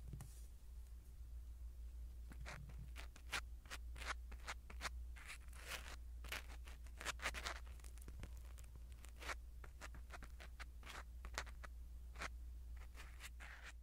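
A black spiral-tip ear pick scratches across a small black foam windscreen on a pin microphone, making a rapid series of soft, crisp scratching and rustling strokes with bright, airy edges. A steady low hum runs underneath the whole time.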